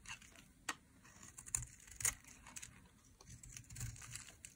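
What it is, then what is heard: Dry soap bar. A metal utility blade scrapes and carves strips from the edge of a solid, dry pink soap bar. Quiet, dry, crisp scraping and crinkly crunching are heard, punctuated by a few sharper bright clicks as the blade bites in. The clicks die away instantly without ringing.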